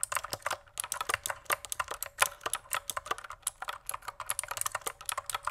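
Fingertips type rapidly on a pink plastic mechanical keyboard, producing a steady stream of sharp, short clicks and clacks. The taps are bright and dry with almost no low end, centered around 1 kHz, each dying away almost instantly.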